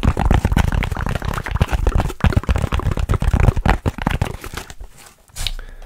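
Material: Foam.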